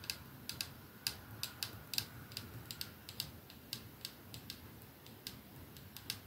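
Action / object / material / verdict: tap / glass perfume bottle with metal band / glass / none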